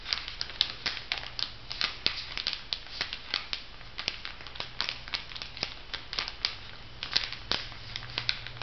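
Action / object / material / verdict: scrape / thin plastic film over foam sponges on a paper card / plastic film / none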